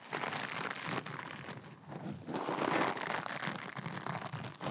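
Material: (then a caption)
Metallic mesh. Long glittery acrylic nails scratch and squeeze a soft, flexible rectangular kitchen scrub sponge covered in sparkly blue metallic mesh. Dense, fast crinkling and scratchy crackling run continuously with uneven bursts, swelling louder in the middle. The sound sits mostly in the midrange with a bright, papery edge.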